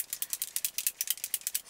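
A can of Maybelline Dream Nude Airfoam aerosol foam foundation is shaken, as its instructions say, to mix it with the bead inside. About twelve quick, bright, dry rattles of the bead sound against the can, with no low end and almost no ring after each one.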